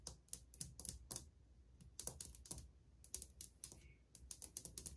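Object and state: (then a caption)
Ceramic tile wall tapped with fingernails. Painted fingernails and fingertips of one hand, with a ring on a finger, softly and quickly tap a solid, flat wall of old white glazed ceramic subway tiles. Bright, crisp clicks arrive in fast bursts with brief pauses between, each dying away almost instantly over a steady low hum.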